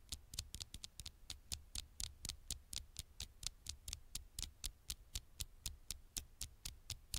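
Fingertips tap an old smartphone's glass screen with about thirty tiny, quick taps in a steady but slightly uneven rhythm. Each tap is a short, bright click with a soft low thump beneath it and almost no ring, all at a quiet level.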